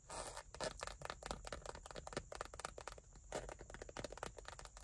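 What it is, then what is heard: Leather wallet. Long nails scratch and tap the textured surface of a small dark brown leather bifold wallet, held flat in one hand with cards inside. The result is a quiet, steady run of short, dry scrapes and soft ticks with a faint low hum underneath.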